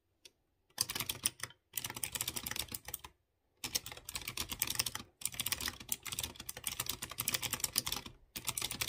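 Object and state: Mechanical keyboard with clicky switches.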